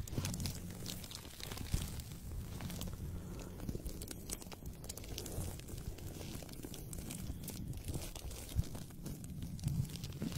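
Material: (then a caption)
Paper. A thin white paper sheet held by fingertips with manicured nails is flexed and rubbed close to the microphone. It gives a steady, soft crinkling and rustling with frequent small crackles and a low rumble underneath.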